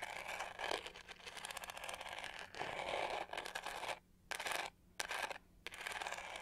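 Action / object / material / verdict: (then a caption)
scrape / plastic detangling hair brush / plastic / none. Long painted fingernails scratch the raised pyramid pattern on the hollow back shell of a hand-sized, pink-to-gold plastic detangling hair brush. The result is a dense, bright, rapid scratching texture with a hollow plastic rasp. Near the end it breaks into short bursts separated by brief silences.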